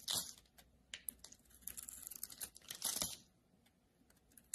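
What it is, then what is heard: Bar of soap being shaved. A solid rectangular soap bar with a red outer layer over a blue-white marbled core is held in the hand and shaved with a metal utility-knife blade. Bright, dry scraping and crackling cuts come in bursts, with the loudest strokes near the start and around the three-second mark, and little low-end body. Faint, quieter scratches trail off toward the end.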